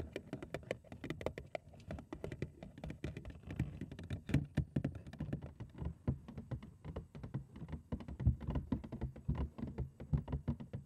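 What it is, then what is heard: Hollow cardboard box. Long acrylic nails tap fast on the front of a large, hollow printed cardboard cereal box, which ends up turned upside down. Rapid, uneven patter of soft, dull, hollow thuds, deep and boomy, with faint clicky tips and almost no ring.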